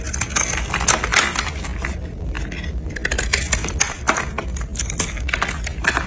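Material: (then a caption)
Soap. A utility knife blade shaves and scrapes the carved surface of a solid pink dry soap bar held in the palm, and pink soap flakes fall off. Rapid, irregular dry scrapes and crisp crackling bursts follow one another, bright and short with almost no ring, over a steady low hum.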